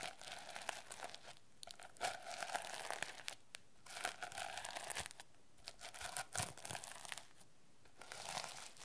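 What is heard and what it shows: Fingernails rapidly scratch and brush across the plastic sequins of a teal sequin notebook cover. Quick bursts of crinkly, raspy scraping come and go with brief quiet gaps between them, and each burst carries a bright, hissy top over a faint mid-range tone.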